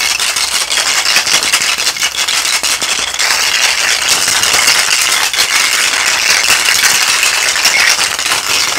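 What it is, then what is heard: Mesh bag of small plastic skulls, shaken. A small net bag filled with many small hollow plastic toy skulls is held up in one hand and shaken. The skulls rattle together in a steady, bright clatter of dense clicks that continues throughout with almost no low end.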